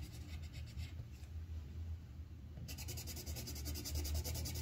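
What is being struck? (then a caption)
Wooden colored pencil on a paper sheet over a clipboard. The tip of a yellow wooden colored pencil rubs in rapid strokes across a thin white paper sheet on a clipboard, filling in a flower petal. A steady low rumble sits under bright, papery scratching that pulses with each quick back-and-forth stroke. Partway through, the scratching grows brighter and denser.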